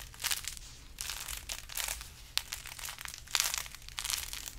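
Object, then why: Burlap-wrapped carrot-shaped decoration. Fingers squeeze and scratch a large carrot-shaped decoration wrapped in burlap. The result is bursts of dry, bright crinkling and scratchy rustling with short, sharp crackles, separated by brief quiet pauses.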